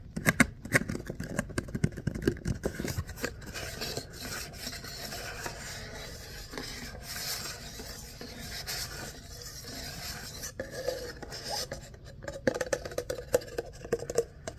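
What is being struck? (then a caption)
Ribbed paper cup. Fingernails scratch the corrugated ridges of an empty, hollow, ribbed kraft paper cup, making dry, raspy clicks and bursts. The cup is then turned and rubbed in both hands, giving a steadier, papery friction that runs through the middle. Sharper scratching bursts return near the end.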